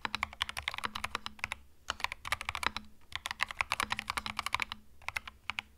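Both hands type with fingertips on a compact cream mechanical keyboard with plastic keycaps. The keys give rapid, bright, clacky strikes that die away almost instantly, coming in quick bursts separated by brief pauses. A faint low hum sits underneath.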